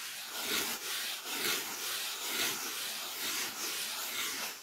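Fingertips rub and scratch a solid white polyethylene packing foam sheet close to the mic. The result is a continuous bright, dry, scratchy rustle with almost no low end, swelling and easing in loose strokes about once a second.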